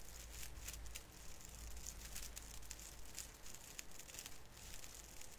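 Fingertips pinch and rub the branch tips of a small artificial fir tree with thin plastic needles above cotton snow, crinkling them. Quiet, irregular bursts of bright, dry crinkling and crackling run throughout over a steady low hum.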